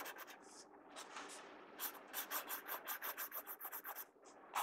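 A pencil tip scratches hatching strokes on an open paper sketchbook page, producing dry, bright, raspy rubbing. After a softer, continuous scratch, a rapid, even run of fourteen short strokes follows, each a crisp papery rasp with almost no low end and no ring.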